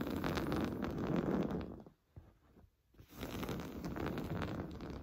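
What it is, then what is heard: Woven fabric sofa cushion. Short blue-painted nails scratch quickly over the textured surface of a large, soft, stuffed beige woven-fabric sofa cushion. The scratching makes a dense, rapid, rustling scrape, fullest in the low and mid range. It drops to near silence for about a second in the middle, then resumes just as fast.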